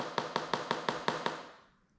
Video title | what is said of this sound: How to Map Delaminations - Hobie 16 | if we tap on the other side it's a lot lower in pitch